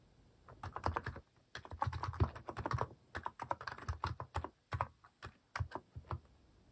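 Fingertips type in quick bursts on a white-case plastic mechanical keyboard fitted with pastel plastic cat-shaped keycaps. The keystrokes land as a rapid run of short, dry clacks with a deep, thocky low body, broken by brief pauses between bursts.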